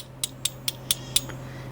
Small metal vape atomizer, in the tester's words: tap it and there's a piece in here that spins